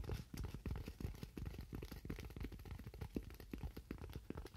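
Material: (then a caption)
Styrofoam. A thin white styrofoam sheet, held in the hands, is tapped rapidly with fingernails. The result is a dense run of short, dull, low-heavy taps with a faint crunchy texture, each dying away almost instantly.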